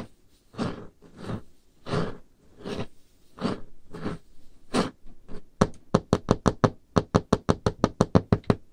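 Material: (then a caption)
Wood. Painted fingernails work on a large, solid, dark-stained wooden table top, first in slow, breathy scratching strokes roughly every 0.7 seconds. They then break into a quick, steady run of sharp, dry taps. Each tap is a low, dull knock with a bright click and almost no ring.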